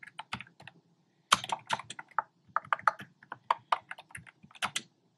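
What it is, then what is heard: Plastic keyboard typing. Fingertips with short nails type on a black plastic keyboard with hollow, round retro-style plastic keycaps in cream, pink and red. About twenty quick, dry clacks sound in an uneven rhythm, each centered around 1 kHz with bright tops and almost no ring. A brief pause comes before a louder burst of keystrokes.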